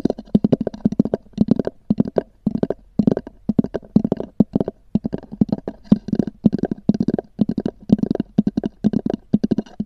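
Long nails tap and scratch the top of a small, hollow, black oval EVA hard-shell zippered case with a textured covering. Quick bursts of dry, hollow clicks with a low, boxy body come in rapid clusters separated by brief pauses. Each tap dies away almost at once.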